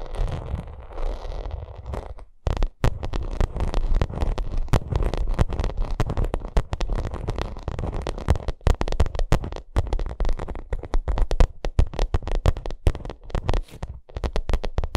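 Long acrylic nails scratch the front face of a white pyramid-textured vinyl makeup bag. A dense stream of quick, dry crackling scrapes and sharp clicks runs throughout, heavy in low rumble, with a brief pause after the first two seconds.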